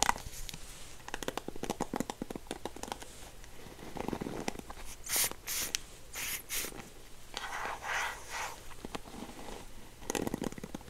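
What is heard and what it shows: Fingertips scratch and strum across the dense nylon bristles of a dark blue plastic paddle hairbrush with a gold handle, held up in the air. The result is a quiet run of rapid, crisp ticks and flicks, broken by short bright rasping sweeps, with a low steady hum underneath.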